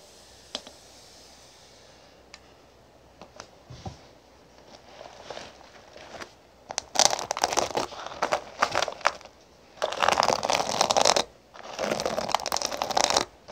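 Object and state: Sequin fabric pouch.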